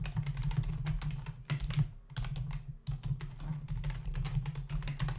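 Fingertips of both hands type fast on a full-size black plastic membrane computer keyboard with hollow keys, resting on a desk. Rapid, dense key taps give a hollow, low thudding clatter with short, dry clicks. Brief pauses come near 2 and 2.8 seconds before the fast typing picks back up.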